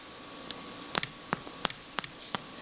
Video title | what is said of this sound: Making Sourdough Velvet Leaf Flour Bread Pt 4 of 4 | you can kind of hear that hollow sound of when you tap on the crust, then you know your bread is done